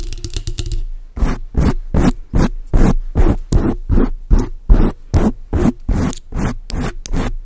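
Long acrylic nails scratch and rub a large dark grey foam windscreen on a microphone. A quick flurry of light scratches gives way to a steady run of rough, separate rubbing strokes. Each stroke is a deep, muffled low rumble with a breathy, scratchy top.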